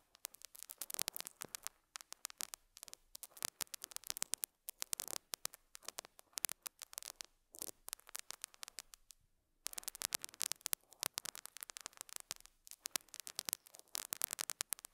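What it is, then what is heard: Felt pad scratched with a metal pick. A metal dental scaler hook scratches and picks at a small square beige felt pad placed on a lapel mic. The result is a dense, quiet stream of sharp, bright crackles and scratchy ticks with no low end, broken by brief pauses, the longest just before the ten-second mark.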